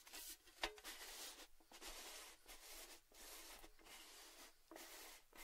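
Fingertips and nails tap and rub along the lid edge of an orange metal Baileys gift tin with its lid on. The result is quiet, bright, scratchy tapping in continuous bursts separated by short pauses, with one sharper metallic click near the start and very little low-end body.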